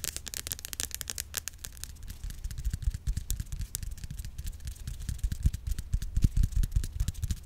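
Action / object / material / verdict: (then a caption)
tap / plastic cream bottle / plastic / none. A white Cantu curl activator cream bottle, hollow and partly filled, is held horizontally and tapped quickly with long acrylic nails. A rapid, uneven patter of dull, low plastic thuds is heard, each with a short bright click. The taps die away almost instantly and grow somewhat louder toward the end.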